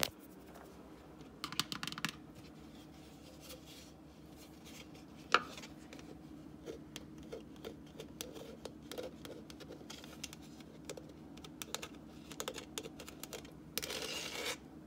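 Fingertips and short nails tap and scratch the side of a hollow, apparently empty frosted plastic cup with a vinyl "MOM FUEL" decal, resting on a paper towel. The quiet, dry taps and brushing scratches are bright and die away almost instantly, with one sharper tap partway through and a denser scratching rustle near the end.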